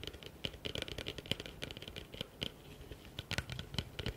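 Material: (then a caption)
Plastic. Fingertips and nails rapidly tap and scratch the outside of a hollow, empty blue plastic bucket turned with its open side facing forward. Quick, dry taps with a hollow low thump and a bright clicky edge mix with scratchy rasps. Each tap dies away almost instantly.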